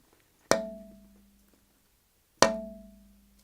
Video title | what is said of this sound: The process of mechanical testing | it rings like a bell and it goes on for three or four seconds